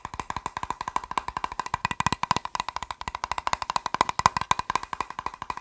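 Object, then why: Plastic box. A plastic box is tapped rapidly and continuously with fingertips, giving a dense, uneven run of sharp, dry clicks. Each tap dies away almost at once and carries a hollow, woody tone around 1 kHz.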